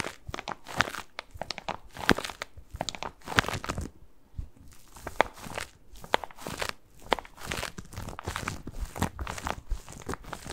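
Fingertips scratch and rub a medium-sized white bath tub pillow, soft and padded and covered in textured plastic mesh, held close to the microphone. Dense, bright crinkling and crunchy scratching come in quick bursts, separated by brief quieter pauses.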